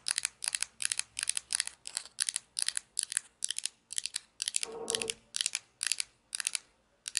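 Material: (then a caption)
Plastic. Long nails scratch and tap along the crust edge and underside of a small, hollow orange plastic toy pizza slice held by its edge. The result is a steady run of short, bright, crisp clicking bursts with almost no ring or low end. A longer, rougher scratch with a little more body appears near the middle.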